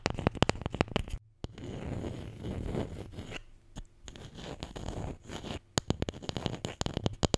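A wooden Scrabble letter tile, the J, is tapped and scratched. Quick, sharp clicks open and close the clip, with a softer, rough scratching in between that has a low rumbling body and little bright content.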